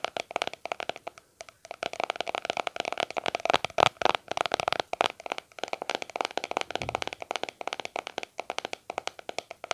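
Fingertips and short nails tap and scratch the flat lid of a small round white plastic aloe vera cream tub with a blue label, held in both hands close to a microphone. A fast, dense run of dry, hollow plastic clicks with brief scratchy scrapes rings out, centered around 780 Hz with bright upper edges and almost no low end. Each tap dies away instantly, with short pauses between bursts.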